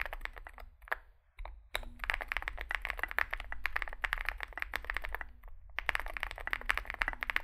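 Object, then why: Mechanical keyboard with plastic keycaps. A compact 65% Zoom65 mechanical keyboard with a dark case and white and grey SA-profile plastic keycaps, resting on a desk mat, is typed on continuously with the fingertips of both hands. Rapid, bright, clacky keystrokes run together in dense bursts, with short pauses near the start and in the middle. A steady low hum sits underneath throughout.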